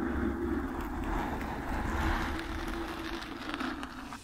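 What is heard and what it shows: Long nails slowly scratch the black foam windscreen on a microphone, making a close, continuous rustling scrape with a strong low rumble underneath. The texture stays fairly steady and dense throughout, swelling slightly midway before easing off at the end.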